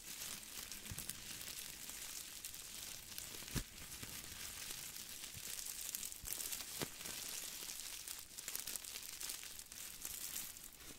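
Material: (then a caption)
Aluminium foil. A small crumpled ball of aluminum foil is held in one hand and squeezed and crinkled with the fingers. It makes a steady, bright crackling and crinkling, dominated by high hiss, with occasional sharper snaps standing out from the continuous rustle.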